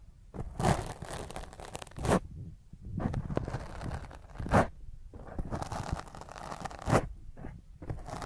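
Fingernails scratch and rub roughly across a black foam microphone windscreen, producing close, crunchy, tearing scrapes with a heavy low rumble and bright hiss. The rough strokes come in uneven waves, with sharper, louder swipes rising out of steady rubbing.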